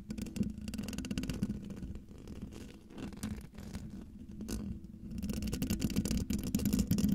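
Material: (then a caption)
Metal mesh. Long, dark-painted nails of both hands scratch up close across the hollow metal mesh grille of a silver microphone. The result is a dense, rapid, uneven scraping and rustling, about four strokes a second, with a low, boomy rumble and a steady hum-like tone near 200 Hz. There is little bright content, and the scratching grows louder and busier toward the end.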